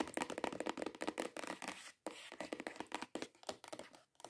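Long acrylic nails rapidly tap and scratch on a long, hollow, cream-coloured cardboard perfume gift box. The result is a dense run of quick, dry, papery clicks and scrapes. The bursts drop to silence in brief pauses near the two- and four-second marks.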